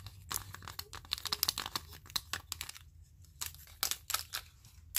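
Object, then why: Small wooden spring clothespins. Small wooden spring clothespins worn on the fingers tap and scrape against a grid of small wooden spring clothespins, and the pins are clicked together. The result is a rapid, uneven run of dry, bright clicks and crisp scratches with almost no ring, separated by brief quiet gaps.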